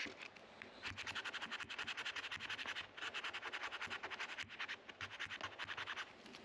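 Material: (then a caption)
Rosewood. A white plastic card is scraped firmly along the dark rosewood fretboard of a guitar neck resting on a neck rest, working the wood between the frets. It produces a rapid run of short, dry, bright scratching strokes, about three to four per second, with brief pauses near three seconds and four and a half seconds. The sound is raspy and hissy with almost no low end.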